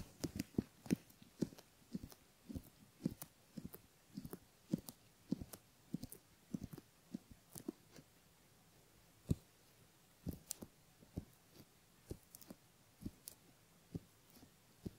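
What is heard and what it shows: A bamboo ear pick scratches the helix and inner folds of the pinna on a right silicone ear model, a solid soft mold with a metal capsule ring in the canal, used as a binaural microphone. Quiet, dry scratching and crackling strokes come in short, uneven bursts with low thumps and bright clicks. Each stroke dies away almost at once.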